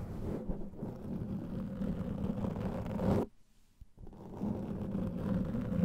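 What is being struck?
Foam microphone windscreen.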